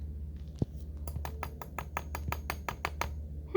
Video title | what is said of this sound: Ms. Bernadette teaches with sand | that sounds hard see how it makes that sound